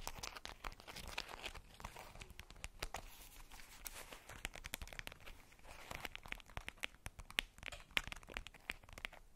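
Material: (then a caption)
Tissue paper. Long patterned nails scratch and crinkle the polka-dot tissue paper wrapped around a fist-sized ball. The result is a quiet, steady stream of bright, papery crackles and rustles, dotted with sharp, short clicks that die away at once.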